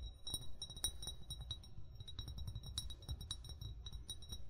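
An upright, hollow amber (brown) glass bottle of unknown fill level is tapped rapidly with short fingernails and fingertips. The result is a quick run of bright clicks and clinks with a glassy ring near 3.8 kHz that dies away almost at once. A soft low rumble sits underneath throughout.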